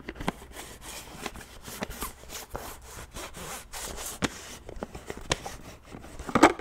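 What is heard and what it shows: Fingernailed fingers grip and twist the screw lid of a large white plastic supplement tub. The result is a steady rubbing, rasping scrape broken by short sharp clicks and ticks, ending in a louder crackling burst.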